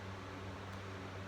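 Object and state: Nothing is struck.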